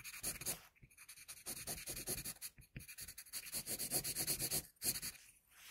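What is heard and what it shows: A wooden HB pencil held in the fingers draws short strokes over a single flat sheet of white drawing paper resting on a board, partly drawn. The graphite produces a bright, scratchy rasp in quick, uneven bursts, broken by a few brief pauses.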